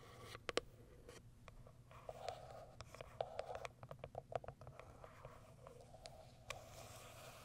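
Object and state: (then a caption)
Cardboard product box. Long white acrylic nails tap and scratch the top of a small white Kiara Sky printed cardboard product box. Quick, dry clicks with a hollow mid-pitched tone mix with soft scratching over a low hum, with about twenty distinct taps.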